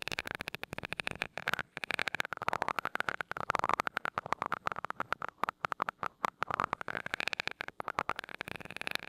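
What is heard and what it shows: A glass rod taps and rubs across the small gold metal mesh grille of a mini microphone. It makes a fast, uneven stream of close, dry clicks and scratches over a wavering metallic tone around 1 to 2 kHz, with bright edges.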